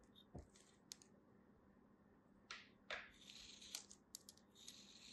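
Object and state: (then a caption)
Kinetic sand lump being cut and crumbled. A solid beige lump of kinetic sand, held in the fingers, is cut and crumbled with a small black knife. Quiet, uneven crisp scrapes and gritty crunches rise and fade over a soft background hiss, with bright crackling as the grains break apart.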